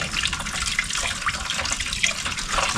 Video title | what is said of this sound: Rare 1972 Dodge Crew Cab: Will It Run & Drive? | I can still hear it sloshing some chunks around in there.